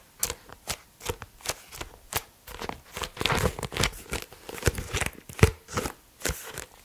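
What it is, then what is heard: Paperback book. Fingertips and nails tap and scratch the cover and page edges of a pink, medium-size softcover paperback, Annales de Comptabilité Analytique, a solid stack of paper pages held in both hands. A quick run of short, dry taps with almost no ring mixes low thuds with bright scratchy edges, and the middle stretch blurs into rapid scratching.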